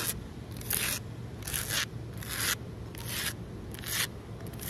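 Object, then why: Concrete ledge. Long nails scratch back and forth across a large, solid outdoor concrete ledge, giving repeated bright, gritty scraping bursts. Each stroke hisses high and rasping over a steady low background rumble.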